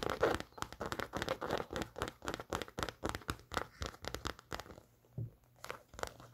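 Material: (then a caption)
Canvas. Long nails scratch and tap the canvas upper of an empty, worn off-white Converse All Star canvas high-top sneaker with metal eyelets. A rapid string of short, dry, crinkly taps and scratching bursts runs through the clip, easing briefly near the end before resuming.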